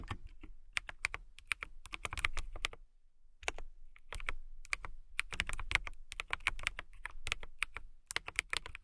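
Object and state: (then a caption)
Mechanical keyboard with clear plastic case. A compact transparent acrylic mechanical keyboard with clear plastic keycaps and a clear case is typed on with long nails and fingertips. Quick, sharp, bright clacks come in bursts over a soft low thump, with a brief pause near the three-second mark. Each keystroke dies away almost instantly.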